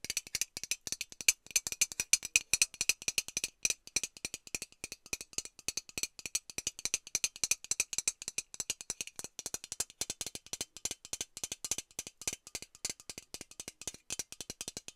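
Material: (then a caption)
Thin metal. A hollow metal Lynx aerosol deodorant can is tapped and scratched with long nails and shaken so it rattles. The result is a fast, irregular stream of sharp, dry clicks and scratches, almost all bright high-frequency sound with no low end. Each tap dies away almost instantly.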